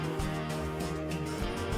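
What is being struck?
Nothing is struck.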